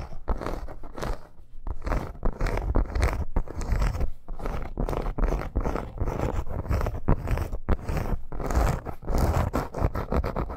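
A red snake-embossed faux leather bracer with metal studs along the edge is scratched fast with long nails. It makes a dense run of quick, rasping scrapes with a heavy low rumble, broken by brief gaps between bursts.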